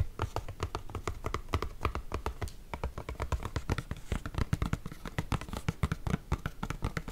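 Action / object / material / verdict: tap / cardboard box / cardboard / none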